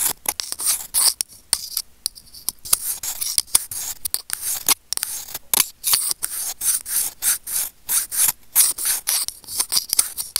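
Curved steel tweezer tips rub and scrape against a small, hollow, white plastic earphone inline remote microphone. The result is a rapid series of short, dry, bright scratching and rasping bursts with almost no low end, separated by brief silences.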